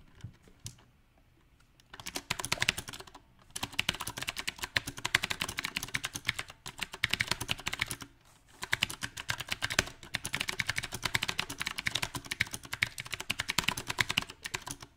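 A mechanical keyboard with round plastic typewriter-style keycaps on a silver metal frame is typed on quickly with the fingertips of both hands, producing dense, bright, crisp key clacks. Brief faint taps open the clip, then bursts of rapid typing follow with short pauses in between.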